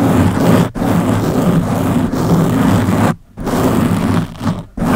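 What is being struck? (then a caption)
Foam microphone windscreen. Long blue-painted nails on both hands scratch the round black foam windscreen covering the head of a Blue Yeti microphone. The result is a loud, dense, low rumbling scrape that is mostly bass with little brightness. It runs in long continuous strokes broken by brief silent gaps.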